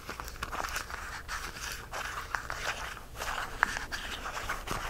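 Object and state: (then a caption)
Plastic spice jar with lid. A small, clear plastic jar of whole cloves, partly full and topped with a red plastic cap, is held in both hands while fingertips and nails scratch and tap its sides and twist the lid. Soft, continuous scratching and rustling carries a bright, crisp edge, broken by sharp plastic ticks and clicks.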